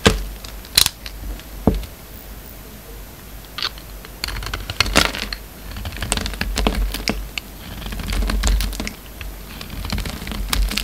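A hand-held, partly carved solid white soap bar with a black coating is shaved and scraped with a utility knife blade. Crisp, bright clicks and short scratchy scrapes come in irregular bursts over a steady low background hum, each one dying away almost instantly.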